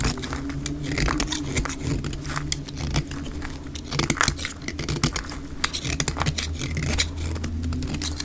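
A solid pink bar of dry soap, held in the hand, is scraped and shaved with a metal utility-knife blade at double speed, shedding flakes. Rapid, dry, crackly scraping strokes follow one another in quick succession over a steady low rumble.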